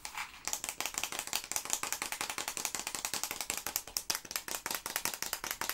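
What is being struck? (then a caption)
Cardboard tube filled with small hard candies. A long, yellow, printed cardboard tube filled with small hard candies is held upright and shaken, with some finger tapping on it. The candies rattle inside in a fast, steady run of dry, bright clicks with very little low end. Each click dies away almost at once.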